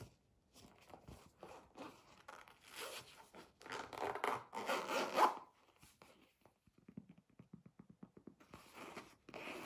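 Fingertips and nails scratch and tap the surface of a flat red felt- or canvas-like zippered pencil case with a round basketball patch, held upright in both hands, possibly with some zipper handling. Dry, bright scratching and rubbing swells louder through the middle, then gives way to a quick run of soft, light taps before the scratching returns at the end.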